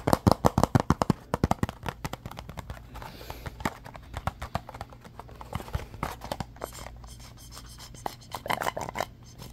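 Fingernails tap and scratch the flat sides of a small, hollow, blue-and-red printed cardboard box held in the hand. A rapid run of sharp, dry taps opens the clip, then fades into a softer, papery scratching stretch. Scattered taps follow, and a final quick flurry of taps closes it out.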